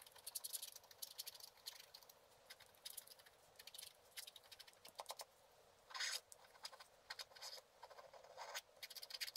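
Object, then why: Black-coated scratch art card scratched with a wooden stylus. A wooden stylus scratches near the bottom edge of a black-coated scratch art card lying flat. Quick, dry, bright scraping strokes come in rapid bursts with short pauses, with no low end, like a faint rattling patter.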